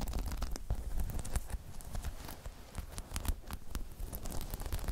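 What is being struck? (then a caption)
Spiky rubber half-dome balance pod. Long chrome nails scratch and tap the spikes of a hollow, spiky rubber half-dome balance pod. The result is a busy stream of short, dry clicks and scratchy rustling over a low, dull thud-heavy body. Brief bright ticks cut through and die away almost instantly.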